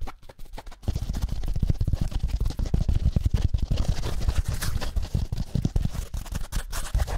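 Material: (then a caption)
Foam. A small yellow foam kitchen sponge with a green scouring layer is held in one hand while the fingertips and nails of the other hand scratch and rub it quickly. After a few soft taps in the first second, a dense, fast run of short, dull, low scratching thuds continues steadily to the end.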